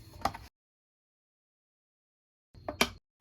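A Sabrent plastic external hard disk drive enclosure is knocked around close to the microphone, giving three sharp, light, bright plastic clacks with almost no low end and very little ring, separated by a gap of silence. The enclosure sounds and feels cheap, brittle and too light, almost like Bakelite, not like a quality build.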